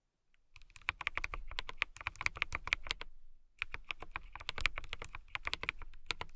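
Long nails and fingertips type on a full-size transparent acrylic mechanical keyboard with clear plastic keycaps and case and RGB lights. Rapid, crisp clicks with a bright, sharp tone fill the clip, with a brief pause near the middle before the typing resumes. Each keystroke dies away almost instantly.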